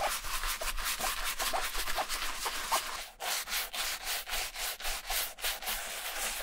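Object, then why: Leather shoe upper scrubbed with a bristle brush and lather. A wooden-handled bristle brush, held by hand, scrubs the shampoo-foamed upper of a vintage black leather Camper shoe. It produces steady, bright, hissy rubbing strokes on the wet lather, with faint squelching. After a brief pause around three seconds, the strokes turn into shorter back-and-forth scrubs.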